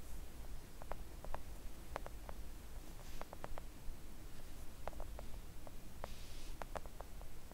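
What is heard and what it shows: Long acrylic nails gently tap a flat pink silicone nail art mat lying on a table. Soft, short, muted clicks scatter irregularly over a steady low hum, with no speech.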